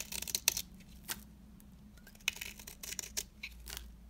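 A metal cutter blade scrapes and shaves the face of a small, solid, dry, rectangular orange retro soap bar held in the fingers, peeling it into curls. Crisp, bright scratchy bursts come in irregular strokes, each dry and quick with no ring, between quiet pauses.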